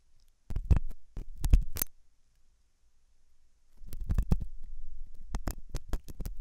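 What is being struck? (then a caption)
Silicone dummy ear and thin metal pick. A thin hooked metal dental tool scratches inside the ear canal of a white, soft, solid-looking silicone dummy ear on a binaural microphone. A cluster of close, muffled scraping clicks and thumps with a deep low rumble is followed by a near-silent pause, then a longer, denser run of scratches to the end.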